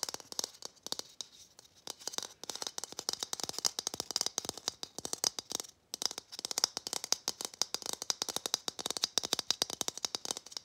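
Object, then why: Hollow plastic Christmas ornament ball. A matte gold hollow plastic Christmas bauble, held in both hands, is tapped fast with fingernails. The result is a dense stream of dry, bright clicks with no low end and no ring, broken by a brief pause just before the six-second mark.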